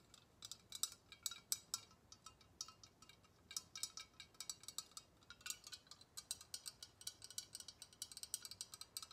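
A long sealed glass Galileo thermometer, filled with liquid and coloured glass bulbs and held horizontally in both hands, is tapped with long red-painted nails, and the floating bulbs may clink inside. About fifty quick, quiet taps come in irregular bursts, each a bright, glassy click that dies away almost instantly with no low-end body.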